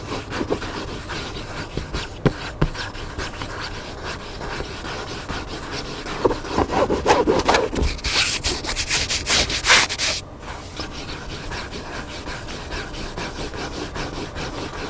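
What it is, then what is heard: Hardcover book being scratched. Fingernails and fingertips scratch the cover of a hardcover book lying flat, making a dry, papery rubbing and scraping sound. The scratching is fairly steady and soft, swells into louder, brighter scraping strokes in the middle of the clip, then settles back to a quieter rub.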